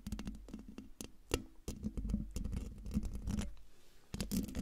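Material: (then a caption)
Metal mesh. Long dark nails scratch the hollow metal mesh grille of a silver Blue Yeti microphone, with both hands at the sides and one hand over the top. The result is a dense run of rough, close-up scratching bursts with a heavy low, boomy body around 200 Hz. Sharp bright rasps cut through, and each one dies away almost at once.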